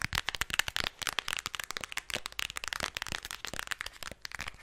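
Long nails tap rapidly on the front and back of a flat black Huda Beauty eyeshadow palette, a cardboard or plastic case holding a grid of pressed-powder pans. The result is a fast, uneven stream of dry, bright clicks and taps that stop almost instantly, with very little low end.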